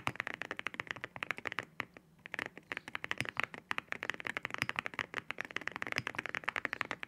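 Fingertips type on a white mechanical keyboard with ceramic keycaps. Rapid, sharp, bright clacking taps ring around 2 kHz and die away almost instantly, with a brief pause around the two-second mark before the steady typing resumes.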